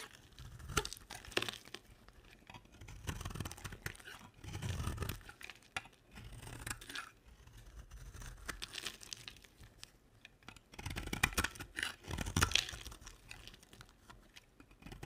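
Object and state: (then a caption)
Dry soap bar scraped with a blade. A utility knife blade scrapes flakes off a solid pink and white dry soap bar. Dry, crumbly scraping and crisp crunching come in uneven bursts with brief quiet gaps, and the flaking carries a bright, papery edge.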